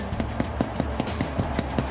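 A freshly baked potato scallion bread loaf, golden brown and hard on the outside after about half an hour at 400, is flicked nine times in a steady rhythm. Each flick gives a short, low, hollow thump, showing the loaf is baked through.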